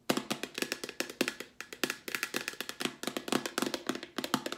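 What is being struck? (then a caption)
Plastic wipes canister with lid. Long nails tap and scratch quickly on the plastic lid and sides of a hollow, cylindrical Clorox disinfecting wipes canister with wipes inside. The result is a rapid run of some thirty crisp, hollow plastic taps with a bright clicky edge and very little low end. Each tap dies away almost at once.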